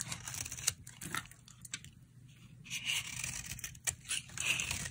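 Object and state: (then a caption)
Dry soap bar being carved. A utility knife blade carves and scrapes a solid, dry, rectangular pink soap bar with a blue coating, held in the hand, shaving off curls of soap. The sound is a series of crisp, bright, papery scrapes and rasps with sharp ticks, broken by a short near-silent pause midway before the shaving picks up again.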